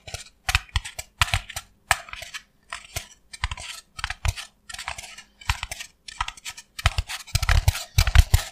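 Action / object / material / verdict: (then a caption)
tap / expanded polystyrene foam block / polystyrene foam / none. A brick-sized white expanded polystyrene foam block with a stamped logo is held in both hands and tapped and scratched with the fingertips and nails. Irregular clusters of dry, crackling taps and squeaky scratches sound in quick bursts with no ring, growing denser and louder toward the end.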